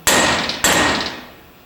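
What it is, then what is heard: Fully seated bearing race. A steel pinion bearing race is driven into a differential housing with a universal driver tool and a hammer, giving two sharp, bright metallic strikes. Each strike rings at a high pitch before fading away. The strikes sound solid, indicating the race is fully seated.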